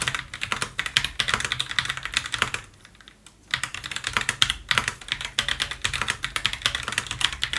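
Gloved fingertips type rapidly on a full-size white Roccat Vulcan mechanical gaming keyboard, with plastic keycaps on a brushed aluminium top plate and a white plastic wrist rest, lying flat on a white table, before one hand presses keys on the right side. Dense, bright, short clacks run steadily, broken by a brief quiet pause near the middle, then resume. The clicks are crisp and dry with very little low end.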